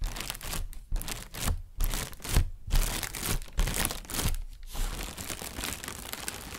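A thin white translucent plastic shopping bag, inflated and hollow, is held in both hands while fingertips and painted nails tap and rub the taut plastic. Bursts of bright crinkling and rustling come in uneven waves over a low rumble, with short quiet dips between them.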